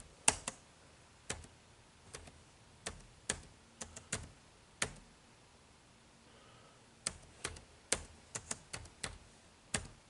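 Fingertips type on the dark plastic keys of an HP laptop keyboard, producing 19 short, bright, clicky keystrokes with almost no ring. The taps come in uneven bursts, with a quiet pause of about two seconds in the middle before a quicker run of keystrokes.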